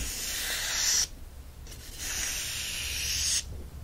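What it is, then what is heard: Paperback book pages rubbed. Fingertips rub the paper pages of an open yellow paperback book and lift and flip them. Two long bursts of bright, airy scratching hiss, each about a second or more, are separated by a brief quieter pause, over a faint low hum throughout.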